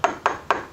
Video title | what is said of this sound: Gregos - Visage public | À la fin, c'est comme un céramique